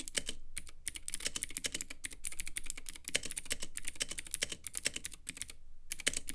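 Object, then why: Plastic mechanical keyboard in acrylic case. Fingertips type steadily on a compact Womier K66 mechanical keyboard with Gateron Blue clicky switches, white plastic keycaps and a clear, lit acrylic case. The keystrokes come as a fast run of sharp, bright clicks with very short decay and a few brief pauses, over a low background hum.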